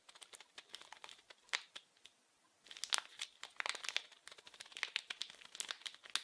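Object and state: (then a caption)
Plastic film wrapper. A small, blue, printed plastic-film-wrapped package is held in both hands and crinkled and scratched with fingertips and nails. Dense bursts of bright, crackly crinkling and short scratchy clicks come with no low end, and a brief quiet gap falls near the two-second mark before the crinkling resumes even busier.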